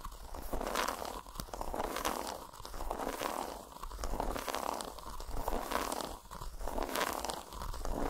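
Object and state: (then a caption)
Segmented milk chocolate bar. Long fingernails tap and scratch across an unwrapped, solid milk chocolate bar with a grid of squares resting on a towel, running over the squares and along the grooves between them. The result is a dense, continuous scratching texture, rough and centered around 1 kHz. It rises and falls in repeated swells over a low, steady rumble, with occasional sharper taps cutting through.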